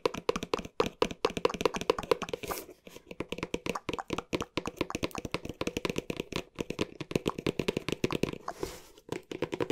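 A hollow green cardboard box with dark edges, held close to the microphone, is tapped quickly with fingertips in a rapid stream of about sixty short, dry, hollow knocks with a mid pitch. Brief pauses near the third and ninth seconds bring a soft, bright brushing sound before the fast tapping resumes.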